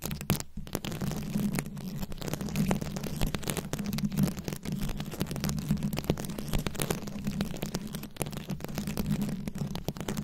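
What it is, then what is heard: Rhinestone-covered microphone scratched with nails. Long nails scratch quickly over a rhinestone-studded microphone head, giving a dense run of fast, crackling clicks and scrapes. A steady low hum around 150 Hz sits under the whole clip, and sharp bright ticks rise above it with no pause.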